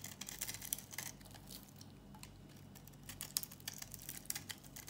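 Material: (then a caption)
Soap. A metal utility-knife blade scrapes a solid, dry, old tan-brown bar of soap held in the palm, flaking off crunchy chips. The result is a quick series of crisp, bright scratches and crackles with very short decay, over a faint low hum.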